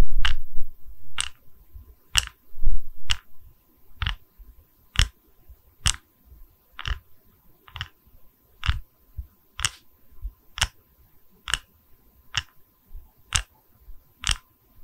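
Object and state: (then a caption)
Wooden log slice coaster. Long red nails tap and scratch the cut face of a small, solid, round wooden log slice coaster with visible growth rings, held in both hands. About 17 sharp, bright clicks with short low thumps come at a steady, quick pace, with softer scratching and rustling between them, loudest in the first few seconds.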